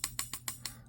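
A metal folding pocket knife is struck five times with something harder, each tap giving a short, bright metallic click. A faint high spring ring trails each tap. The knife is of good quality and does not rattle, and its spring is fine, ringing audibly only when hit this hard.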